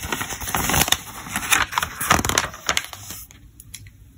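Fingertips rub the glossy paper pages of a thick, open softcover trade magazine lying on a table, then lift and turn them. Dry, bright rustling and crinkling swells and fades in irregular bursts, with sharper page flicks standing out, before tapering to a few faint rustles.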